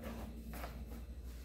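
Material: Nothing is struck.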